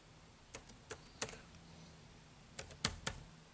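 Fingertips type on the dark plastic keys of an HP laptop keyboard, in a slightly quieter stretch. Six short, bright plastic clicks come in two loose clusters with a pause between them, over a faint low hum.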